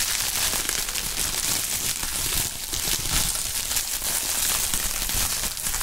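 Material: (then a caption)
Plastic. A large sheet of clear polyethylene bubble wrap is spread out and crinkled by gloved hands using the fingertips. The result is a steady, dense crinkling and crackling, mostly bright and high with a light low rustle beneath, holding at an even level throughout.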